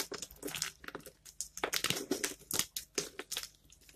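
Bare fingertips pinch and crumble brittle dried bar soap chunks, green and red pieces dusted with white powder, piled on a wooden board. A quick, uneven string of short, dry, bright crunches and crackles follows, each snapping off almost at once with little low end.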